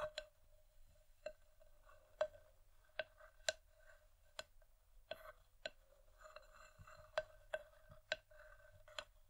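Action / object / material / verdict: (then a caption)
tap / polished wooden bowl / wood / none. Long painted nails from both hands tap and scratch the outer rim and sides of a medium, empty, hollow, polished wooden bowl resting on a dark velvet cloth. About twelve sharp, hollow knocks, each with a short tone near 630 Hz and a bright click, are spaced irregularly over soft scratching. Each tap dies away almost instantly.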